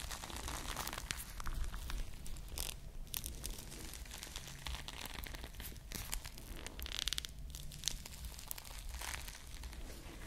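Long nails scratch and squeeze a small, soft foam squishy ice cream bar with glued plastic bead sprinkles right beside the mic. Dense, crinkly scratching and crunching rustles come in bright bursts over a steady low rumble.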